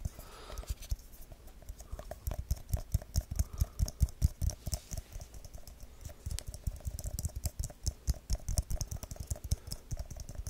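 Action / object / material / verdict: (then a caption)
tap / small aluminium tin can / aluminium / none. A small, round, hollow aluminium tin can is tapped fast with fingertips and nails, first on the lid side and then on the white labelled bottom. The result is rapid, irregular bursts of short, dull taps and clicks with a low, thumpy body and almost no ring.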